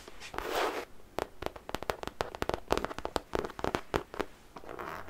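Long nails scratch and tap close-up on the surface of a medium-sized, soft-sided zippered makeup pouch made of printed fabric with a London bus and phone-box pattern, holding contents inside. Broad scratchy swishes open and close the clip, framing a rapid series of short, dry, tightly damped taps centred in the mid range.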